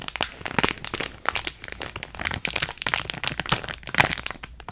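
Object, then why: Clear plastic bag of small beads. Long nails squeeze, crinkle and scratch a clear plastic bag of purple beads with a card header, held close to the mic. Dense, bright crackling and crunching rises and falls in uneven bursts as the granules shift inside, with almost no low end.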